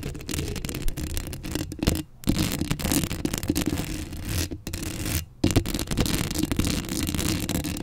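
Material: Metal mesh.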